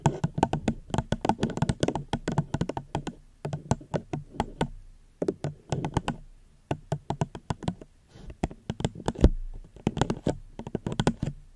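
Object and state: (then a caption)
Plastic cup. Gentle, quick fingertip taps on a plastic cup held close to the microphone make dull, low-heavy knocks with a very short decay and little brightness. The taps come in rapid bursts separated by brief pauses, with no talking.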